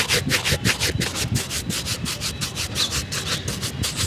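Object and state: Leather shoe being brushed.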